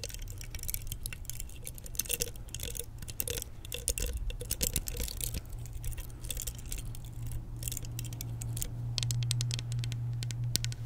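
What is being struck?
Plastic vented hairbrush.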